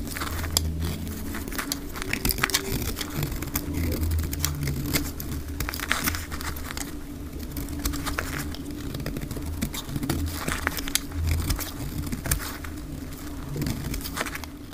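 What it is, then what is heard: Dry bar soap. A solid pink dry soap bar, held in the hand, is scraped with a metal utility-knife blade, shaving off flakes, and the audio plays at double speed. Rapid dry crackling scrapes come in dense bursts over a steady low hum. Each scrape is short, with almost no ring.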